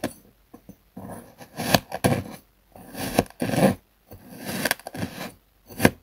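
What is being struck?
Kinetic sand block cut with a metal knife on a wooden board.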